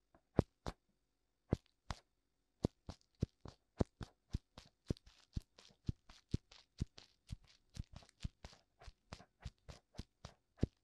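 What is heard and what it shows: Fingertips tap on both white silicone ears of a black binaural microphone. A long series of short, dry taps plays over about eleven seconds, each a dull low thump with a brief bright click on top and no ring. The taps start sparse and settle into a quick, steady rhythm against near silence.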